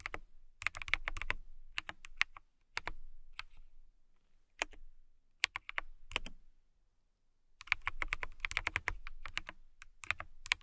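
A transparent acrylic mechanical keyboard with clear plastic keycaps is typed on with long nails and fingertips. Bursts of bright, sharp clicks and clacks come in uneven runs, with short pauses of near silence between them. Each keystroke is dry and snappy, with no ring after the hit.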